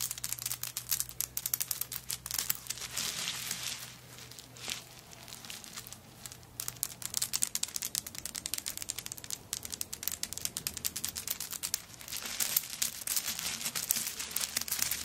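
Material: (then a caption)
Coconut shell. Long nails scratch and tap across a handbag covered in coconut shell chips, making dense, bright, dry crackling and clicking. The scraping eases to a softer patch midway, then builds back to busy, crisp scratching toward the end.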